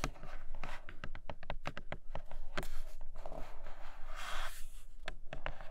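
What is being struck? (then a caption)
Cardboard box with clear plastic window. Long nails tap rapidly and scratch across the clear plastic window of a flat grey cardboard Nomad box. Crisp, sharp clicks come in quick succession, with a brighter scratching rasp swelling briefly near the end over a steady low rumble.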